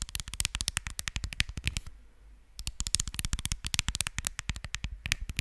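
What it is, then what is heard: Smartphone glass screen tapped with nails. Long nails rapidly tap the glass screen of a smartphone held sideways over a microphone, producing a fast run of sharp, bright clicks with a low thump under each. The tapping pauses briefly for about half a second near the middle, then resumes at the same quick pace.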